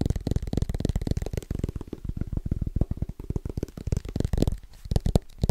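Fingertips of both hands tap fast and rhythmically on the metal back of a thin aluminum-backed iPad tablet held close to the mic. The taps are dense, soft, low thuds with almost no ring, each dying out instantly with a faint papery click.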